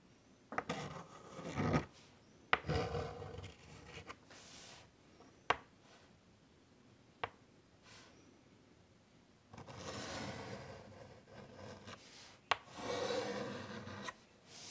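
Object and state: Chalk drawing on a chalkboard.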